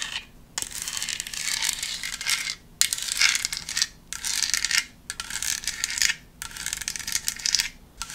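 Long nails tap and scratch the ribbed surface of a hand-sized black decorative foam pumpkin with a spiderweb print. The result is a bright, dry, crackly scratching with almost no low end, coming in repeated bursts separated by brief near-silent pauses.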